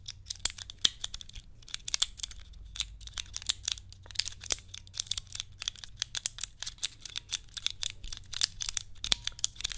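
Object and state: Plastic cube puzzle.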